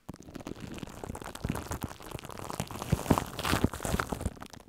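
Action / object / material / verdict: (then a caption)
scrape / aluminium foil sheet wrapped over a microphone / aluminium foil / none. A loose, hollow layer of crinkled aluminium foil wrapped around a microphone head is crumpled and scratched by long acrylic nails and fingertips. It makes a dense, continuous crackle with deep, rumbling low-end thumps and sharper crunchy bursts that grow louder near the middle before fading out.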